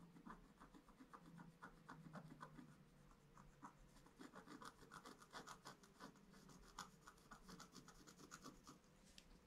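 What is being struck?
Black-coated scratch art paper scratched with a wooden stylus.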